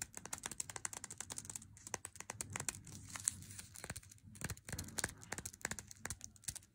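Long nails tap and scratch the front and edge of a small, flat, printed cardboard box holding an unopened 100g Lindt Swiss Classic dark chocolate bar. Rapid, dry clicks mix with scratchy, papery crinkling, mostly bright and high, with a faint low thump under some taps. Each tap stops almost instantly with no ring.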